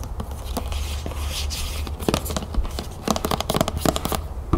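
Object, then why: Plastic lotion bottle. A medium white plastic body lotion bottle, hollow and apparently full, is held in the hand and tapped and scratched with long green-painted nails. Bright, hissy scratching runs under a steady low hum, then gives way to rapid, dry, clicky taps that grow denser and louder toward the end.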